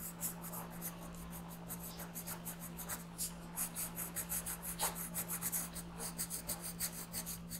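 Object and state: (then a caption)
Colored pencil on paper. A dark green colored pencil shades around the eye on a thin printed paper coloring sheet resting on a desk. Dense, rapid scratching and rubbing strokes give a bright, raspy texture over a steady low hum.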